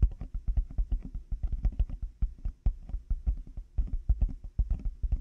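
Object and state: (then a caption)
Plastic over-ear headphone earcups. Large black plastic over-ear headphone earcups on a 3Dio binaural mic have their hollow shells tapped rapidly with the fingertips and nails of both hands. The result is a fast, uneven stream of dull, deep thuds with faint clicky tops, each dying out almost instantly with no ring.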